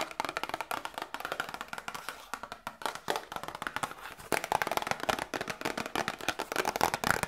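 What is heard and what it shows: A small, hollow, printed cardboard Grippostad medicine box is held up in both hands and tapped and scratched with long nails. The result is a rapid, steady stream of dry, hollow, papery clicks centered around 1.4 kHz, with almost no low end and a scratchy rustle between the taps. The tapping grows louder and brighter in the second half.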